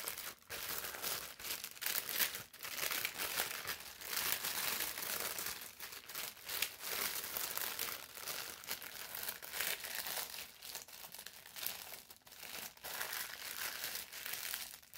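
A thin sheet of brown parchment paper is held up, then folded and rolled between the hands. It makes a steady, dense, bright crinkling with brief dips and sharper crunches throughout, and almost no low end.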